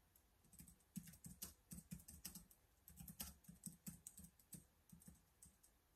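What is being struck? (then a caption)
Plastic laptop keyboard. Fingertips type continuously on the black plastic keys of a laptop or tablet keyboard case resting on a wooden desk. The result is a quiet, uneven run of soft, dull taps with a low thud and bright clicky tops. Each tap dies away almost instantly.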